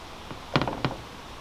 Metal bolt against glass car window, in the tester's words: that's the screw the bolt actually tapping on the window